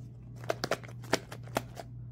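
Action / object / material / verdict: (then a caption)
shake / jar of body cream / cream / curdled. An old 2022 jar of body moisturizer that has gone bad and curdled inside is shaken, its contents dropping to the bottom. This makes a series of sharp, short clapping and sloshing knocks over a steady low hum. It is the abnormal sound of spoiled, curdled cream.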